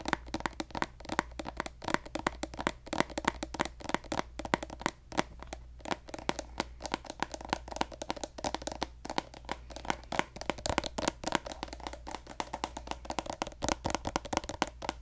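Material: Plastic.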